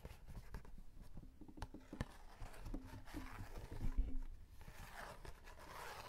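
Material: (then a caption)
Cardboard. A small rectangular printed cardboard box of Tongku chocolate wafer sticks, held in the hand and apparently full, is scratched and tapped with short fingernails and fingertips. Soft dry scratching and quick muffled taps sit low and close, with short tonal squeaks around the middle of the clip.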